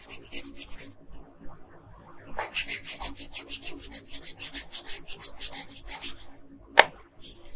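A wooden colored pencil rubs quickly back and forth across a thin paper coloring sheet lying flat on a table, filling in the skin area. The bright, scratchy strokes come in two rhythmic bursts separated by a pause, with a short sharp tick near the end.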